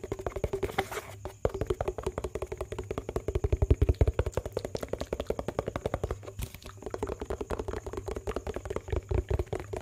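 A yellow plastic dishwash-paste tub with a lid is tapped with fingernails while being turned in the hands. The result is a rapid, uneven stream of short, dry clicks with a dull, hollow low thump and almost no ring.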